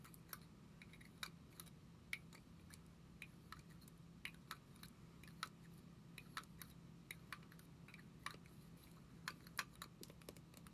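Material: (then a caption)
Plastic. A small, hollow black and gold plastic lipstick tube with a metallic finish is held in both hands and tapped with long acrylic nails. Quiet, sharp, dry clicks with a bright edge come at an irregular pace and die away at once. A steady low hum sits underneath throughout.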